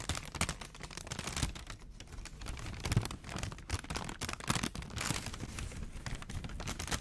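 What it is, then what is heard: Paper sandwich wrapper. A thin printed McDonald's paper sandwich wrapper is held flat in both hands in front of the mic while fingertips crinkle it and scratch its surface. The result is a steady stream of dense, bright crackles and papery scratches over soft, low, muffled handling thumps, with short bursts that rise and fall throughout.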